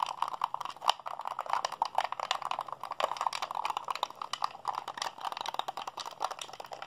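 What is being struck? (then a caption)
Plastic game controller. A white, hand-sized, hollow plastic Xbox controller is held in both hands while fingertips rapidly press and mash its buttons and sticks. The result is a dense, fast stream of dry, clicky presses and light plastic rattles, centered in the midrange with bright tick edges and no low end.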